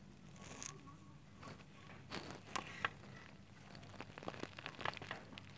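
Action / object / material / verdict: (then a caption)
scrape / pile of shredded soap flakes / soap / none. Bare fingertips press into and crunch a pile of fine white shredded soap strands in a clear glass plate. The result is soft, dry crinkling and crackling with brief, bright crunchy snaps over a faint low hum.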